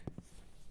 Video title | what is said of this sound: Stranded at Cedar Point!- 2 dudes 1 mic (vlog+Ep 9) | I'll just shake it a little bit. Listen to that. That thing packed full.